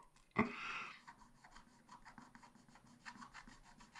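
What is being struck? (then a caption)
Black-coated scratch-art paper scraped with a wooden stylus. A wooden stylus scratches short, dense strokes into a black-coated scratch-art paper page in a spiral pad, tracing an ice-cream cone motif while the other hand holds the pad steady. A sharp scrape opens into a brief, louder raspy rub, followed by a quiet run of quick, dry scratching strokes with a bright, papery edge.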